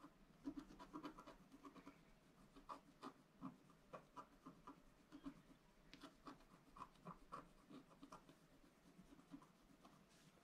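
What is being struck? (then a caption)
Scratch-art card scratched with a wooden stylus. A wooden stylus scratches the bottom corner of a black-coated scratch-art card lying flat on a table. A quiet, steady run of short, dry scratching strokes follows one after another, each with a papery rasp and a faint brighter edge that stops almost at once.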